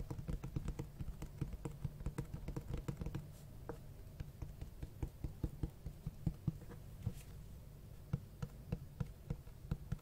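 Fingertips tap and scratch the front of a large, solid black hardcover book with a cloth-textured cover and white page edges. Rapid clusters of soft, dull, low taps mix with faint scratching, quieting in the middle before sharper, spaced taps return. Each tap dies away almost instantly.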